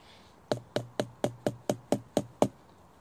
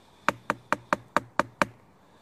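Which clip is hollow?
The first.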